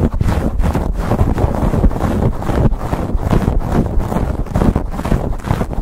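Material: Foam.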